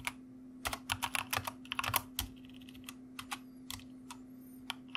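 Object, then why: Plastic mechanical computer keyboard. A white plastic mechanical computer keyboard is typed on with the fingertips of both hands, giving bright, sharp clicks that tumble in quick uneven bursts during the first half and then thin out to scattered single keystrokes. A steady low hum runs underneath throughout.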